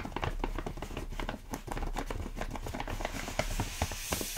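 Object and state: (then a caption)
Plastic bag of rolled oats. Fingertips tap and squeeze a large, full plastic stand-up bag of rolled oats, making the plastic crinkle. A steady run of quick, crisp taps and crackles blends into a continuous rustle over a low, muffled body, with a few sharper snaps standing out near the end.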